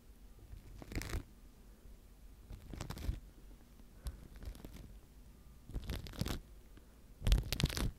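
A wooden-handled natural-bristle face brush is rubbed over a microphone tightly covered in clear plastic wrap. Five separate bursts of scratchy, crinkling brushing come through, each with a deep muffled rumble underneath and bright crackle on top. The last burst is the loudest.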